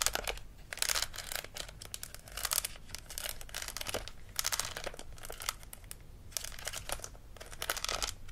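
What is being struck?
Plastic toy dental model.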